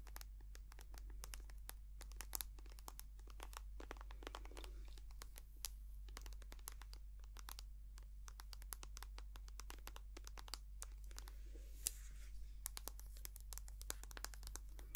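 A white soft plastic cream tube, held in both hands, is tapped and scratched with long nails. Quick, sharp clicks and crinkly, scratchy rustles come in dense, uneven bursts over a steady low hum.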